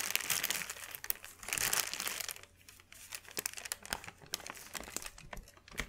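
A large, thin, white crinkled sheet of wrapping paper is unfolded and smoothed with flat hands. Dense, bright crinkling comes in loud bursts over the first two seconds, then settles into quieter, scattered crackles and sharp ticks.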